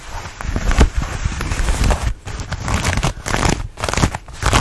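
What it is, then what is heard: Denim fabric scratched. Fingertips scratch a fitted denim dress being worn, working over the fabric at the hip, the waist and the elasticated neckline. The result is a dense, crackly rasping in uneven bursts with brief quieter gaps, heavy in low rumble and only faintly bright.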